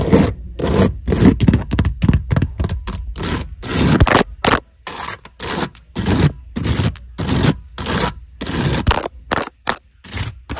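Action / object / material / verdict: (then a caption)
scrape / woven wicker basket / wicker / none. Long acrylic nails scratch and tap across the woven strands of a hollow brown wicker basket whose weave looks like resin or wood strips. Dry, crackly scraping comes in short, irregular bursts separated by brief silences, with a soft, low hollow body under each stroke.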